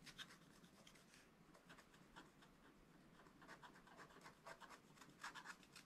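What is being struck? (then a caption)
Scratch-art paper page scratched with a wooden stylus. A wooden stylus scratches stripes into the zebra and the surrounding ground area on a flat scratch-art card page in a spiral book. Quiet, dry, bright scratching comes in quick repeated strokes, with a brief lull near the start. The strokes grow a little louder and sharper toward the end.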